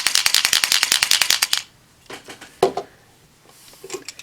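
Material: Plastic.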